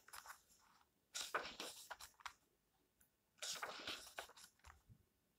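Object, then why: Paper pages of a book. An open paper book is held at its edge while fingertips flick and turn its pages. This makes bursts of crisp, bright, crackly rustling separated by short quiet pauses.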